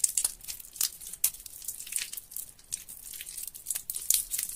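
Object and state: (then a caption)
Soaked, mushy soap. Fingers squeeze and tear a large mass of mushy, water-soaked soap in a sink of yellow soapy water. The result is a steady run of wet, crackling, tearing squelches, mostly high and bright, with many quick bursts and almost no low end.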